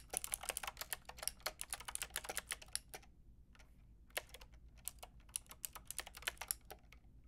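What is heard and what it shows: A Lofree plastic mechanical keyboard with a plastic frame and round keycaps is tapped by fingertips with long red nails. A quick run of sharp, bright clicks pauses briefly around the middle, then resumes in a sparser, uneven rhythm, each tap dying away almost at once.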